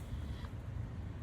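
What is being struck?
Nothing is struck.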